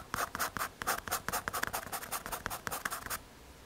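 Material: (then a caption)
MDF. A pencil tip scratches repeated hatching strokes across a small, solid, square brown MDF or hardboard panel held by fingers. About sixteen short, dry scratching strokes come in quick succession, each a bright, rasping burst centred around 1.6 kHz with bright hiss above. The strokes stop abruptly, leaving a faint quiet tail.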